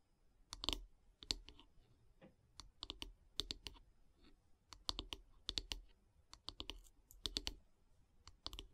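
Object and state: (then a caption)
Wooden brush handle tapped with fingernails. Long grey nails tap on the solid light-wood handle of a wooden bath brush. Quick, dry, bright clicks come in irregular bursts and clusters, each dying away almost at once, with a faint low thump under some taps.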